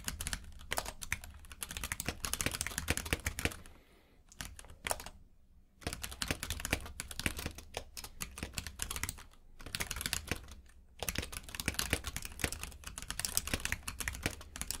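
Both hands type rapidly with their fingertips on a compact mechanical keyboard with plastic keycaps in a grey frame, which is lying on a purple rug. Dense bursts of bright, clicky key taps with a low thump beneath them are broken by brief pauses near the middle of the clip before the typing resumes.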